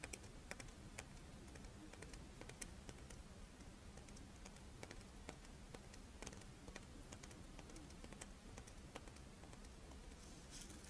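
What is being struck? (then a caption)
Crisp rice wafer shell with chocolate filling. A Doraemon-shaped rice wafer monaka with a chocolate filling is held on its edge while long nails scratch and tap its crisp wafer shell. Quick, bright clicks and light ticks scatter over a soft, steady low hum throughout.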